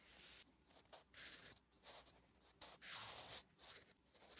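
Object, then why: Graphite pencil on lined paper notebook page. A wooden graphite pencil writes Korean letters on a flat, solid lined paper notebook page, making bright, scratchy strokes. The strokes come in bursts of hiss, with quiet gaps between them.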